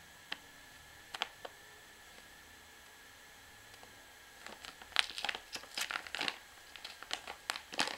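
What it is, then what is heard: Plastic pouch of washing powder. A full, soft 500 g white plastic pouch of Hi Foam washing powder is held in the hand while long manicured fingernails and fingertips tap and scratch its front and the bag is squeezed. The first half has a few sharp, isolated clicks over a quiet, faint hum. From about four and a half seconds, dense, bright crinkling and scratching bursts take over until the end.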